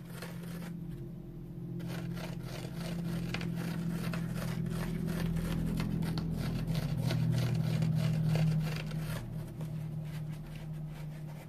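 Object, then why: Foam sponge. Fingertips and nails rest on a dry orange foam sponge with fine pores and scratch rapidly across it, making a fast, fairly steady run of soft scraping strokes over a low, steady hum. The scratching slowly grows louder toward the end, then eases off.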